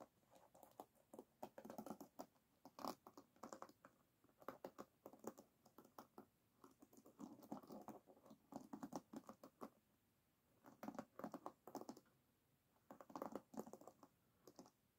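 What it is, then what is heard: Wooden hairbrush pins scratched. Long nails scratch rapidly across the wooden pins of an oval wooden hairbrush resting on a table. Quick bursts of dry, clicky scratching come in clusters separated by short pauses.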